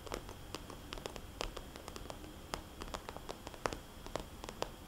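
Fingernails tap and lightly scratch a small, red polka-dot, glossy plastic cosmetics bag held upright, its hollow pouch giving each tap a light, hollow click. The taps come quick and uneven, short and dry with almost no ring, over a faint, steady low hiss.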